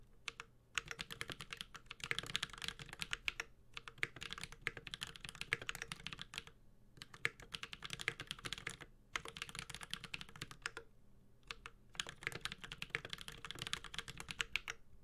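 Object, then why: Mechanical keyboard with plastic keycaps. A Space65 Cybervoyager 65% mechanical keyboard with Holy Panda switches, a white-gold metal case and GMK Ursa ABS keycaps sits on a desk mat while the fingertips of both hands type steadily across the keys. The sound is mostly bright, sharp switch clacks centred around 2 kHz, with very short decay and a little low thock beneath. The bursts of rapid typing are separated by brief pauses.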